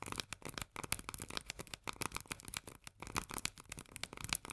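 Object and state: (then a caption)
Steel food can tapped with fingernails. Long nails tap quickly on the paper-labeled body of a small, full steel can of corn lying on its side. The taps come as a dense, uneven run of dry, bright clicks that stop short with almost no ring, giving a crackly, rattling texture.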